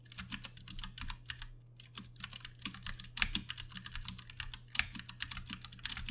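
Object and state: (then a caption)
Plastic mechanical keyboard being typed on. Fingertips rapidly type on a compact 60% backlit Ducky One 2 Mini mechanical keyboard with Cherry MX Brown switches and plastic keycaps, resting on a desk mat. A dense stream of short, bright clacky keystrokes plays over a steady low hum, with a few sharper, louder key hits standing out.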